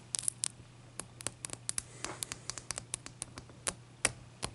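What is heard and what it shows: Long nails tap and scratch one solid clear ice cube, held in the hand and then set on a towel. About twenty-one sharp, bright clicks come at an uneven pace with a soft scraping stretch in the middle. Each tap dies out almost at once over a faint low hum.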